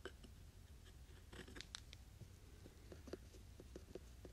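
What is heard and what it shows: Two small, solid, light-coloured wooden cubes are held in the fingertips and slid and rubbed against each other in front of a binaural mic. The result is a quiet, dry scraping texture broken by a series of short, bright clicks and taps, over a low rumbling background.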